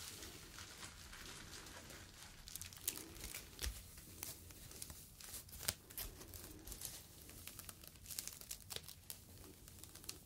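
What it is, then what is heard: Foam fruit protective net. A small, soft, hollow yellow expanded polyethylene foam mesh sleeve, a foam fruit protective net, is squeezed and crinkled with fingertips close to the microphone. It makes a quiet, continuous, bright crackling and crinkling, with a low rumble underneath and scattered sharper pops, the loudest between about 3 and 6 seconds.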